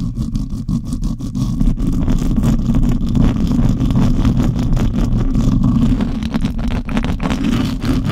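Long nails scratch and the fingertips of both hands rub the bare silver metal mesh grille of a condenser microphone, a hollow mesh dome. The result is a steady, loud, bass-heavy rumbling scrape, broken by quick, uneven scratching strokes with a faint brighter hiss on top.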